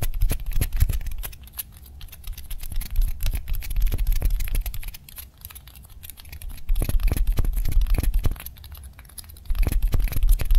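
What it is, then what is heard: Styrofoam balls. Long manicured nails fast-tap two small, white, solid styrofoam balls of the same kind, one held in each hand. The result is a rapid, uneven stream of short, dry taps with a soft low thump under bright clicky tips. The tapping swells louder and fades quieter in waves.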